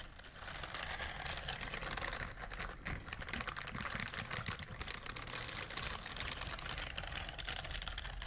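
Long nails scratch across a pink silicone bristled scrubber glove, making a dense, continuous stream of quick, bright scratching clicks over a steady low rumble. The rapid crinkly ticking stays fairly even in level throughout.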